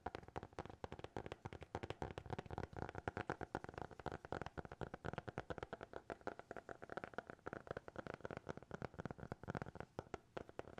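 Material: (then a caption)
Cardboard. A small black hardcover notebook is held closed at different angles and tapped on its cover and edges with fingertips. Dozens of quick, dry, soft taps follow one another in a steady, rapid stream, each stopping short with no ring. The taps have a muffled, hollow low-mid body and little brightness.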